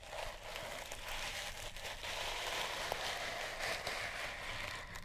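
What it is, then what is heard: Sisal rope cat toy scratched. Long nails scratch a sisal rope-wrapped cat toy held in the hand. A steady, dry, bright rasping with fine crackly texture runs throughout, with a few small sharp ticks.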